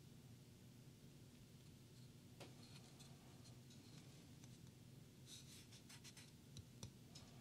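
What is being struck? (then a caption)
Flat pine wood cutout board. Fingertips rub, scratch and tap the surface and edges of a flat, solid, unfinished light pine wood board cut in a pumpkin shape, about hand-to-forearm size, lying on a wooden table beside a candle. Quiet, dry scratching and soft rubbing sit over a steady low hum, with a few short, bright taps standing out near the middle and end.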